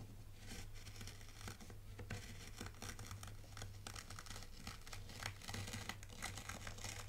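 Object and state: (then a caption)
Dry fine sand being raked. A small dark plastic T-shaped rake is dragged and scraped by hand through a shallow tray of dry, fine white sand with a loose granular surface. It makes a continuous crisp, crunchy scratching with bright gritty hiss in repeated strokes, over a steady low hum near 100 Hz.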